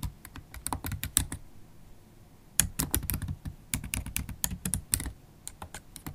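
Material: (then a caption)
Plastic. Long holographic acrylic nails and fingertips type on a MacBook Pro keyboard with black plastic keys set in an aluminium body. Quick, dry clicks and taps come in a rapid burst, pause for about a second, then resume in a steady stream. Each keystroke stops short, with a low thud under a bright tick.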